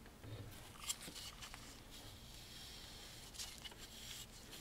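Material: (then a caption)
Wood. A wide bristle paint brush, held in a gloved hand, is swept along the carved ridges of a large dark-stained wooden picture frame around a painting. The strokes make a dry, scratchy, bright brushing hiss over a quiet low rumble, with a few slightly louder scrapes standing out.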